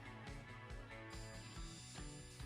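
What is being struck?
Nothing is struck.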